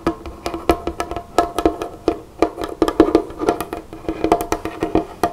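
Both hands, one wearing a flower ring, tap and drum with long fingernails on a large, solid, dark-stained wooden tabletop. The result is a quick, uneven string of short, dry, woody knocks with a hollow midrange tone and almost no ring after each hit.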